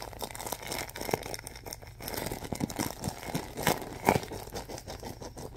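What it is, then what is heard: Plastic film bag of soft stuffing. A large clear plastic film bag filled with soft white stuffing is squeezed and pressed with fingertips. A steady, dense crinkling and crackling runs throughout, with a few sharper, louder crackles near the end.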